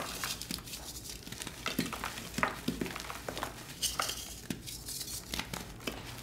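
Fingertips with short nails squeeze, crush and rub several solid, dry, pastel blue and pink glittered gym chalk blocks (magnesium carbonate) in a round tray, crumbling them into powder. The result is a quiet run of crisp, bright crunches and gritty crumbling with soft rubbing between them.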